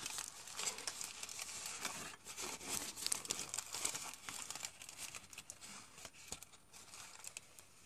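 A thin, loose sheet of crinkled aluminum foil, the inner wrapper of a chocolate bar, is held in both hands while fingertips crumple and rub it. Dense, bright crinkling and crackling fills the clip with many quick, irregular crackles, loudest in the first half and slightly softer toward the end.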